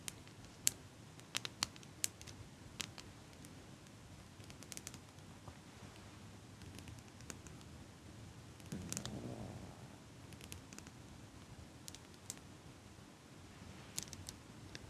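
A small hand-held metal eyelash curler with a hinged frame and scissor-like handles is held close to the mic by hands with long pink nails. The handles are squeezed and clicked, and the nails tap the frame. The result is a string of sharp, bright clicks and ticks over a soft, low, purring rustle that swells briefly around the ninth second.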